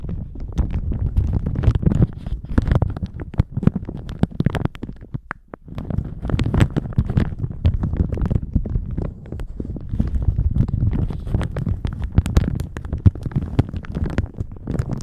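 A thin plastic shower cap stretched over a microphone is crinkled and rubbed with the fingertips, producing a dense, continuous low, muffled rustling and crackling with many quick crisp spikes. The sound drops away briefly around the five-second mark before the crinkling resumes and continues steadily to the end.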